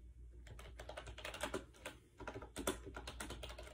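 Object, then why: Plastic keyboard. Fingertips type rapidly on a compact gray plastic AJAZZ 308i Bluetooth wireless keyboard with round keycaps and a hollow shell, resting on a bed. A quick, uneven run of soft, hollow clicky taps comes with short pauses, the brightest clicks near the middle and end, over a faint low hum.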